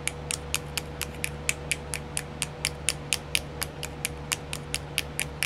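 Long nails tap a small, round, clear plastic nail art wheel with filled compartments, making 24 sharp, bright clicks at a quick, slightly uneven pace. Each tap dies away almost instantly over a steady low hum and a faint tone near 500 Hz.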